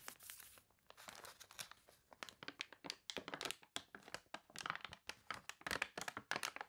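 An open, glossy, water-wrinkled paper toy catalog is handled as hands turn its wavy pages and press them flat with fingertips and long nails. The result is dense, bright crinkling and crunching in quick, uneven bursts with almost no low end, and each sound cuts off sharply between bursts.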